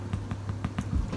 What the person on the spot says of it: you tap them and they make a little hollow sound. That means that they're done.